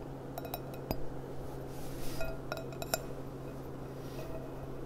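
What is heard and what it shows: A clear, empty gold-rimmed glass goblet with a stem is held upside down while long dark nails tap its hollow bowl. Light, quick clinks ring out around a mid pitch with bright overtones and fade fast. They sit over a steady low hum.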